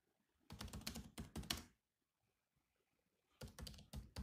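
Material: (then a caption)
Plastic. Both hands tap with their fingertips on the black plastic keys of a grey laptop keyboard, making quick clicky keystrokes with a low thump and a bright, crisp edge. The typing comes in two rapid bursts separated by a quiet pause of more than a second.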